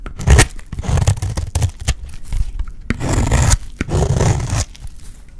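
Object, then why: Dry bar soap. A solid, light blue dry bar of soap is held in the hand while its edge is shaved into flakes with a metal utility blade. The cuts make dry, crunchy scraping strokes in uneven bursts, full and low in tone with brief crisp high ticks.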